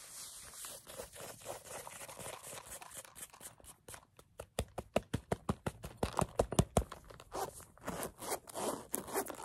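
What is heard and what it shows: Long acrylic nails scratch and tap a small, hollow green velvet case with a metal zipper, and the zipper is handled. Soft, dry scratching and rustling gives way midway to a quick run of sharp, crisp taps with very short ring. The clip ends with more scratching and zipper handling.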